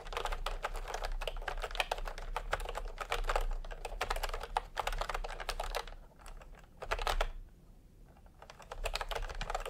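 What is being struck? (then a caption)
Plastic keyboard with round keycaps. Fingertips type continuously with both hands on a plastic retro keyboard with round typewriter-style keycaps. Rapid, bright clicks and clacks come in dense bursts, with brief pauses around six and eight seconds before the typing picks up again.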